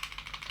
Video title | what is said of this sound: Lohnt es sich? STEYR L9A2-MF GBB Pistole von KJW / ASG Airsoft Review | Wenn ich hier mal den Klappertest mache, hört man das Klappern, und das liegt hier am Outer Barrel